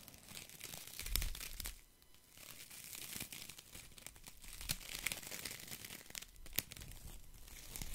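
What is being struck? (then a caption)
Bundle of thin wooden sticks. A handful of thin wooden sticks held in one hand is scratched by fingers and rattled together close to the mic. It makes a dry, bright crackling and crinkling texture with sharp little clicks and snaps. The sound briefly quiets around the two-second mark before the scratching and rattling pick up again.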